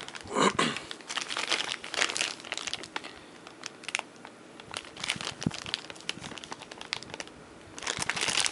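A thin clear plastic sleeve holding a black Cold Steel Kobun folding knife is crinkled between bare fingers and thumbs as it is opened. The result is a bright, dense crinkling and crackling with sharp, quick-fading snaps, swelling into louder bursts near the start and end with quieter rustling in between.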